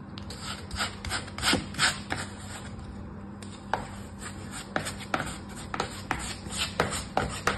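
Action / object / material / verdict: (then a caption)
scrape / kinetic sand in a plastic tray / sand / none. A small orange plastic scoop held in the fingers scrapes and smooths a packed layer of brown kinetic sand in a green plastic tray. Irregular, short gritty scrapes and rubs with bright, crisp edges stand out over a faint steady low hum.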